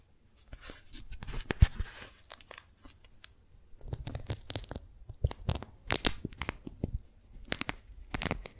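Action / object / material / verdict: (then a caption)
scrape / beeswax-coated cotton food wrap / waxed cotton / none. Fingertips and nails peel the stuck folded layers of a pink strawberry-print, beeswax-coated cotton food wrap apart and crinkle them. The result is bursts of sticky, tearing crackles with bright snaps and soft low rustle, separated by brief quiet pauses.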